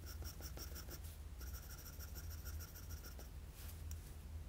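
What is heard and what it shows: A wooden graphite pencil with a blue ferrule and eraser, held in the fingers, scratches shading strokes around the eye of a pencil sketch of an anime face on a flat sheet of drawing paper. Quick, soft, repeated scratchy strokes with a bright ticking edge run over a steady low hum, pausing briefly after about a second before resuming and then tapering into lighter rustling.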